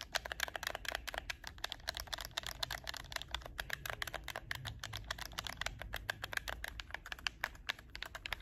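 Fingertips repeatedly click the triggers and shoulder buttons of a hollow black plastic PS4 game controller held in both hands. The result is a rapid, steady stream of sharp, dry, bright plastic clicks that stop instantly, over a faint low background hum.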